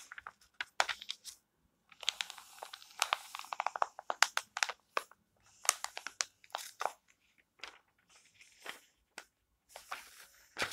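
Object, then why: Thin glossy paper magazine pages. Hands with long painted nails rub, smooth and turn the pages of an open, thin glossy paper magazine lying flat on a table, using their fingertips. Crisp, bright rustles and crinkles come in quick bursts separated by short silences, with almost no low end and no lingering ring.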